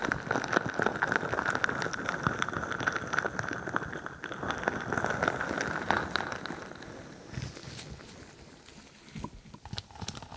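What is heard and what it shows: A crinkly bingsu ball, a stretchy plastic skin filled with plastic beads, rests on top of a microphone and is squeezed and scratched with long nails. Dense crackling and crinkling of shifting beads runs with a steady mid-pitched edge for about seven seconds, then thins to quieter, scattered clicks and taps.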